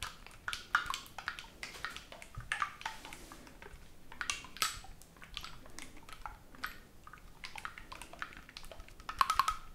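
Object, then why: Oboe with metal keywork. A black oboe with silver metal keywork, held in front of the chest, is not blown; instead fingertips tap and press its metal keys. Many short, dry clicks and light clacks come in quick, uneven bursts, bright with a tonal ping around 1 kHz, and each one dies away almost instantly. A denser cluster of clicks closes the clip.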